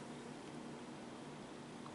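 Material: Nothing is struck.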